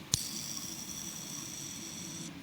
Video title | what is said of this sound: 요요 베어링 세척은 이 영상 하나로 끝! 30년차 고인물의 베어링 완벽하게 세척하는 법 | as you keep spinning it, you’ll hear the bearing balls spinning for longer